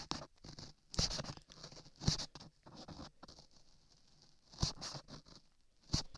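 A gloved hand scrapes a flat metal chisel across a solid layer of beige modeling clay sculpted over a 3Dio microphone ear. The result is a close, soft patter of short scratchy strokes with a bright hiss on top and a low thump underneath. A few firmer scrapes stand out, near 1, 2, 4.6 and 6 seconds.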